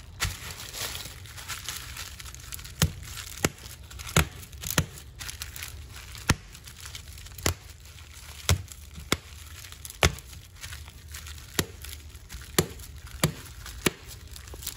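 A large flat sheet of clear plastic bubble wrap with hollow air-filled bubbles lies on a workbench while both hands press, rub and squeeze it with fingertips and palms. A steady crinkling, rustling bed runs throughout, broken by thirteen sharp, short pops that stand out clearly above it.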